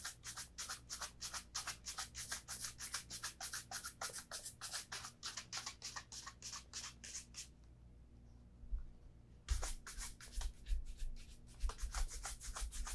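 A brown leather Vass Austerity Brogue oxford shoe with a shoe tree is held up and brushed vigorously with a bristle shoe brush over the upper and the welt edge. Quick, bright, scratchy brushing strokes repeat rapidly, stop for about two seconds, then resume. A low steady hum sits underneath throughout.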